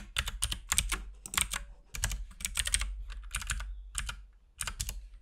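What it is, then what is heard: Plastic mechanical keyboard. A compact RGB-backlit mechanical keyboard with plastic keycaps and a hollow case is typed on continuously with the fingertips of both hands. The result is an uneven stream of quick, bright plastic clacks over a hollow low thump. Each keystroke dies away almost at once.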